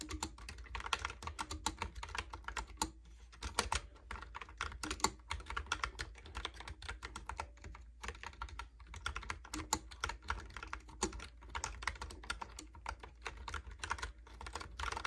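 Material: Plastic.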